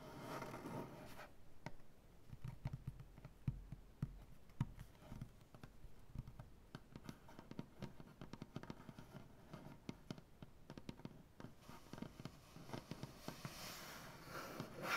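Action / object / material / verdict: tap / maple butcher block tabletop / maple wood / none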